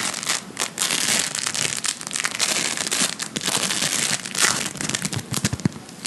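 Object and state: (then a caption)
Polystyrene bead play foam being squeezed. A large lump of blue play foam made of polystyrene microbeads is held up and squeezed and kneaded with the fingertips. It gives off a continuous, crunchy, bright crackle of popping beads, with sharper snaps rising out of the dense texture.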